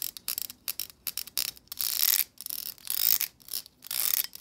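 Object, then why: Plastic hair brush bristles. Long acrylic nails flick and strum the tips of the stiff plastic bristles on a black plastic hair brush held horizontally. Quick, crisp, bright ticks come in an uneven run, broken by longer raspy strums that swell and fade. The sound is almost entirely high-pitched, with no low body.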